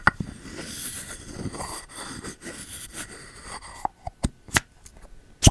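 A bamboo lid is pushed and rubbed with the fingertips inside the rim of a pink ceramic candle jar held sideways. Soft, steady rubbing and scraping fill the first few seconds, then give way to a series of short, dull plops with almost no ring.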